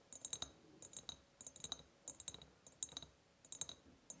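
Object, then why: Empty ribbed glass jar. Long painted nails tap the sides of an empty, ribbed, clear glass jar. The result is bright, quick clicking taps with almost no ring, arriving in short clustered bursts.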